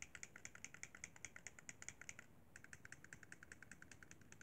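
A white plastic Xbox 360 controller, a hollow handheld held in both hands, has its face buttons tapped and pressed by fingertips. About 38 quick, bright plastic clicks come in a steady run, with a brief pause just past the halfway point. Each click is short and dry over a faint low hiss.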